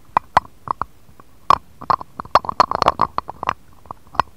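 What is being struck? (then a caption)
Glass dish tapped with a stone roller. A jade face roller with a green stone roller and metal handle is rolled and tapped across an empty, shallow, round, clear patterned glass dish lying on a cutting mat. The result is a quick, irregular series of sharp glassy clinks with a mid-pitched ring that dies away almost at once, with bright edges on the harder taps and quiet gaps between them.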